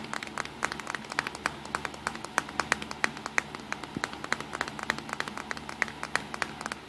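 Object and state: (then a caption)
Plastic compact camera. Fingertips tap rapidly on the top edge and front of a small black plastic Nikon compact digital camera with a hollow body. The tapping makes a quick run of short, dry clicks with a bright, hollow tone centered near 1.9 kHz, each dying away almost at once over a faint steady low hum.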